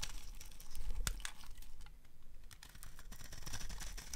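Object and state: Dry soap bar being carved.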